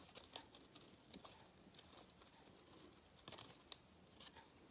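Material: Cardboard.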